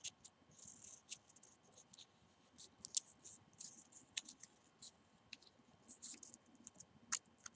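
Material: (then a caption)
Cinnamon bark. Fingernails scratch and tap the bark of a small bundle of hollow, dried cinnamon sticks tied with twine and held in both hands. The result is quiet, bright, dry scratching broken by a scattered string of sharp, crisp ticks and clicks that die away instantly, with almost nothing in the low end.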